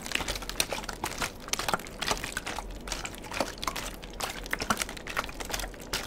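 A clear, partly filled plastic water bottle with a white cap is held and handled by the fingertips. A steady run of dry, bright crinkles and quick tapping clicks is heard, with brief louder snaps scattered throughout. There is almost no ring after each sound.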